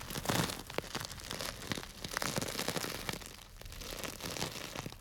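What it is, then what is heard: Plastic bag of dry grains. A small clear plastic bag tied with string and full of small dry grains is held by its tied top and squeezed and rubbed with fingertips. The result is a dense, continuous stream of crisp crinkling and crunching, with many short, bright crackles and grainy rustling over the full five seconds.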